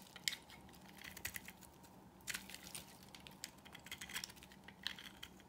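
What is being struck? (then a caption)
Bar of soap cut with a knife blade. A solid, dry pink marbled bar of soap held in the palm is carved with a utility knife blade into curling strips. The cuts come as quiet, crisp, bright scraping clicks with no ring, spread unevenly over a low steady background.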